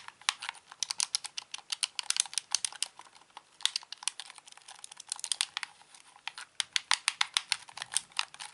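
A hollow plastic Xbox controller is held in both hands while its buttons and d-pad are clicked with the thumbs. Dozens of sharp, dry, bright plastic clicks come in quick irregular runs, with short lulls around the third and sixth seconds. The clicks have no low-end body and stop instantly.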